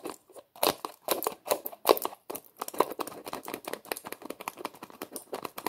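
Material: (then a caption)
Plastic. Fingers grip and twist the white plastic screw lid of a small, hollow red plastic tub, with some tapping. The result is a rapid series of short, dry plastic clicks, scrapes and crinkly rasps that stop almost instantly, with no low end.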